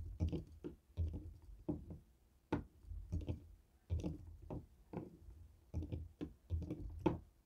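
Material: Plastic.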